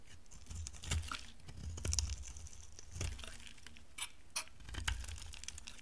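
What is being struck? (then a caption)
Bar of soap scraped with a steel blade. A steel utility knife blade carves and scrapes a solid, dry, palm-sized orange bar of soap, breaking flakes off it. Irregular, crisp scraping strokes and dry crackles sound bright and high over a low background rumble, each stroke ending abruptly.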